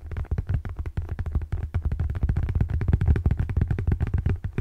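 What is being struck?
Paperback book.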